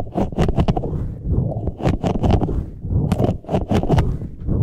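A large green, soft, hollow, air-filled rubber puffer ball with flexible spikes is squeezed and rubbed with the fingertips of both hands. The result is a quick, irregular series of dense, low, rubbery squishes and scrapes with short crackly bursts that reach into the high range.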